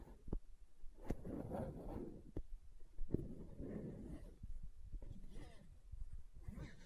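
Long nails tap and scratch the side of a translucent green plastic aloe gel tub. Sharp, dull taps alternate with soft, muffled scratching that is mostly low in pitch, and the sound is quiet with no ring after each tap.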